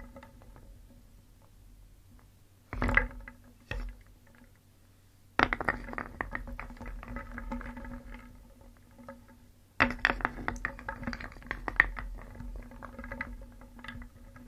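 A wooden spoon stirs and scoops through a round wooden bowl full of small, solid, painted wooden shapes, so the pieces knock together. After a quiet start come a couple of brief knocks, then two longer stretches of dense, dry clattering. The short, bright clacks die away instantly with no ring.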